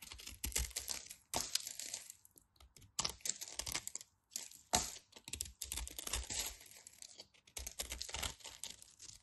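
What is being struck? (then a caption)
Bar of soap. A utility knife scrapes and slices across the scored surface of a solid white bar of soap. Quiet bursts of dry, crisp, bright scraping and crackling come in short runs, separated by brief pauses.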